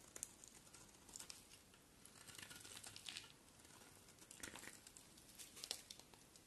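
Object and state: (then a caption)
Bar of soap being shaved. A solid, hand-sized white bar of soap is shaved with a box cutter blade in repeated scraping strokes, and the shavings pile up. The sound is quiet, bright, and crackling, with crisp scrapes and crinkly bursts that fade almost instantly over a soft, steady hiss.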